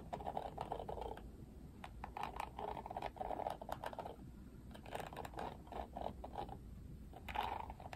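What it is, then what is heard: Plastic hairbrush bristles being flicked. Fingertips flick and strum the pink-tipped plastic bristles of an oval plastic paddle detangling hairbrush with a black cushion. The result is clusters of rapid, dry plastic clicking and ticking with a mid-pitched, buzzy tone, separated by brief quieter pauses.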